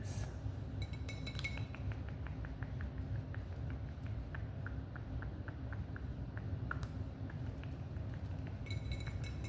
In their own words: Wine bottle Tapping 🍾